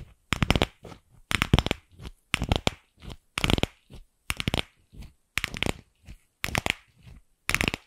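Long nails tap and scratch the shell of a single empty, fist-sized, pink hollow plastic ball. Short bursts of quick, bright, clicky taps and scratches come roughly once a second, each followed by quieter, softer scratching, with silence in between.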